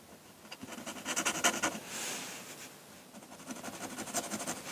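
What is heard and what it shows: A metal pen nib in a wooden holder scratches ink hatching strokes across a flat sheet of drawing paper on a table. Quick, bright, dry scratches come in uneven bursts, with a longer smooth rasping stroke in the middle. Each scratch ends sharply, with little ring.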